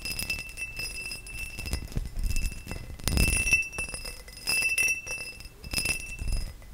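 A tall, hollow, empty cut-crystal glass vase is tapped with fingernails and fingertips. It gives a rapid, uneven stream of light clicks and taps with a bright, bell-like ring that sustains between hits. Some duller, heavier thumps come in among them.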